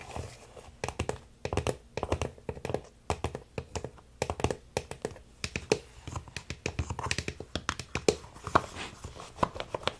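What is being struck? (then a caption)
Plastic toy puzzle. Fingertips and nails tap quickly on the blue and green plastic pieces of a large, hollow, multicolored plastic crocodile puzzle toy resting on a wooden table. The result is a rapid, irregular run of short, dry, hollow clicks with almost no ring, in a rhythm like typing.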